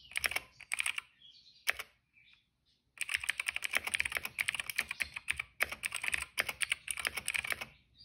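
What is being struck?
Plastic mechanical keyboard.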